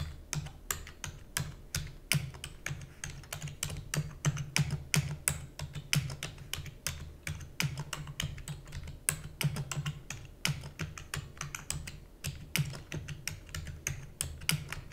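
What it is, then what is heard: Plastic computer keyboard being typed on. Fingertips with long natural nails rapidly press the keys of a black full-size plastic computer keyboard with hollow key housing. The result is fast, irregular typing: short, bright clicks and clacks with no ring, over a steady low hum.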